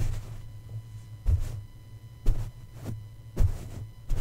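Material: Metal mesh.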